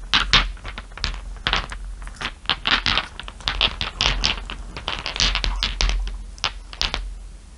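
Long nails tap rapidly on a pile of small solid glass marbles, giving a dense run of short, bright clicks and clinks with a brief ring. The taps come in uneven bursts over a steady low hum.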